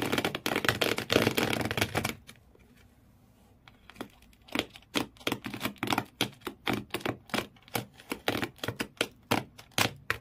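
Fingernails of both hands scratch back and forth across the corrugated cardboard floor inside an empty shoe box. A dense, loud burst of bright, raspy scratching gives way to a near-silent pause. Then come quick, separate scraping strokes in an uneven rhythm, each short and dry with a crisp high edge.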